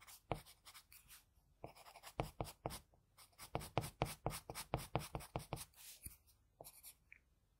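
An HB wooden pencil held in the fingers draws short strokes on the eye area of a drawing on a flat sheet of white drawing paper resting on a hard surface. The graphite tip makes a quick, uneven series of dry, bright scratches, each stroke stopping abruptly, with brief pauses between bursts.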